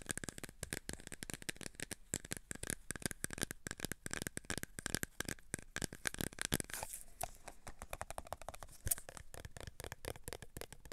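A clear plastic tub full of cotton swabs is held in both hands while fingertips and nails tap and scratch its sides. Dense, rapid, dry clicks and crackly scratches run throughout, bright and very short with no ring. Partway through, the sound shifts to a softer, more scratchy rustle.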